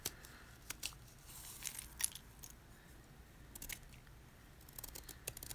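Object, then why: Magnesium carbonate gym chalk block. A snap-off utility knife blade scrapes the top edge of a solid white gym chalk block (magnesium carbonate) held in hand, and chalk flakes crumble off. Quiet, bright, dry scraping comes in short bursts, with sharp crunchy ticks over a low, steady background hum.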